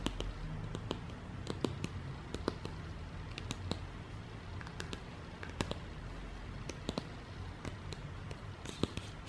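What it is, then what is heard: Glossy paper leaflet. A printed glossy paper or card product leaflet is held in the hands and tapped and scratched with fingertips and long nails. Quiet, sharp, dry ticks and brief bright scratches come at an irregular pace over a soft, steady low rumble.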